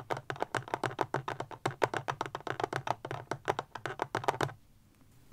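Long fingernails tap quickly on a small, solid, rectangular black powerbank with a plastic casing, standing upright. About 29 sharp, dry clicks come in a steady run with almost no ring, centred around a 430 Hz tone. The tapping stops at about 4.5 seconds, leaving near-silence.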